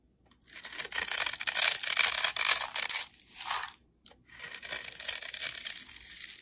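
A metal utility blade scrapes and scores a crosshatch pattern into a solid, rectangular black soap bar held in the hand. Bright, dry, crisp scraping and tearing strokes come in overlapping bursts. There is a brief silent pause near the middle before the scraping resumes steadily.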